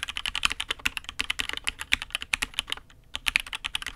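A custom Matrix 8xv 2.0 Add X'mas mechanical keyboard with an aluminium case, INK Black switches and red and grey ABS keycaps is typed on with the fingertips of both hands. About 29 quick keystrokes make bright, sharp clicks with very little low end, and a short pause comes near the three-second mark before the typing resumes.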